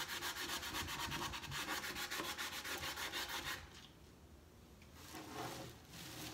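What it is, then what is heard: Wooden crate being sanded. Vigorous rubbing and sanding of the painted slats and corner post of a large hollow wooden crate box stand, done with a cloth or sandpaper in one hand while the other hand rests on top. Rapid, steady back-and-forth strokes give a bright, scratchy rasp for about three and a half seconds. The sound then drops to a faint hush, with a couple of softer strokes returning near the end.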